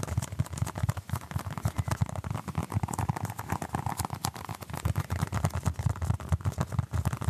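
A small orange basketball-patterned stress ball, apparently solid soft foam, is held in one hand while the other hand's fingertips and short nails scratch and tap it. A dense, rapid stream of soft, muffled thuds and light scratches is heard, mostly low and dull with very little brightness. Each tap dies away almost instantly.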